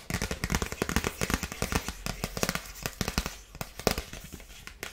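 A dark polka-dot paper gift bag with a bow is tapped quickly with long nails. The result is a rapid, uneven stream of sharp, crackly taps on the paper, each dying away almost at once.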